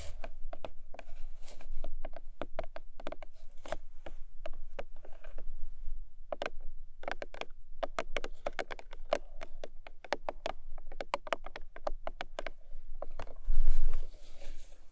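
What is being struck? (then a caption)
Small paperboard box. Long nails tap and scratch the top face of a long, narrow, hollow pink paperboard product box. Quick, irregular hollow taps with short, dull decay are mixed with soft scraping, over a steady low rumble. A louder, denser scratching burst comes near the end.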